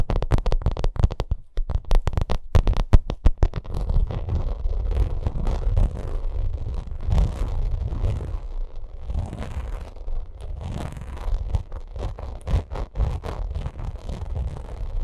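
Long acrylic nails scratch and tap over the pyramid texture of a white, bumpy vinyl cosmetic bag. It opens with a quick flurry of sharp, dry taps, then settles into continuous rough scratching with a dull, low, rumbling body and occasional taps through to the end.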